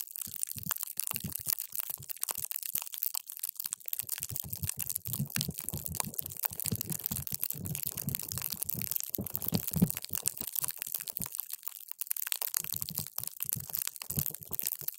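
A paper straw is pushed down into a clear plastic cup full of multicolored water gel beads, crushing them. It makes a dense run of wet, squishy pops and crackles with soft low thumps under a bright, crisp hiss. There are brief quiet gaps around 3–4 seconds and 11–12 seconds.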